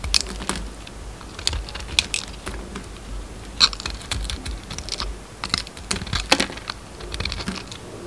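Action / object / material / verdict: scrape / solid bar of soap scraped with a metal blade / soap / none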